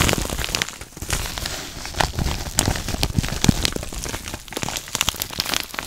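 A yellow kraft padded paper mailer envelope with a barcode label, hollow with contents inside, is crinkled and scratched with fingertips and dark painted nails close to the microphone. Dense, dry crackling and crinkling fill the clip, with many sharp, quickly fading ticks and scratches that are bright on top and carry a papery low thump underneath.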